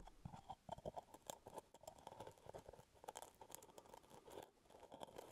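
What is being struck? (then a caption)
Plastic screw lid of a full jar. Fingertips scratch and tap the brown plastic screw lid of a full plastic peanut butter jar held close to the mic. A quick run of dry, crunchy ticks and scratches with a hollow midrange knock and bright edges, each stopping almost instantly. The tapping comes in uneven bursts throughout.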